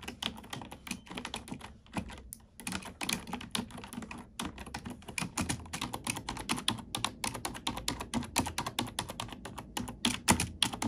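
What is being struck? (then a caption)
Plastic computer keyboard. Fingertips and nails type quickly on a black plastic computer keyboard, producing a steady stream of bright, crisp clicks and clacks with a soft low thump beneath. Each keystroke dies away almost instantly, and the typing briefly pauses twice before continuing at an even pace.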